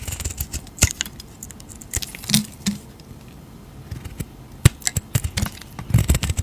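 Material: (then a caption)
Soap. A utility knife blade shaves and cuts thick curls off a solid rectangular bar of cream-white soap with a purple-dyed edge, held in a hand with long teal nails. Short, dry scrapes and crisp, bright clicks come in an irregular series, with a few sharper snaps over a soft low rumble. Each cut stops almost instantly with no ring.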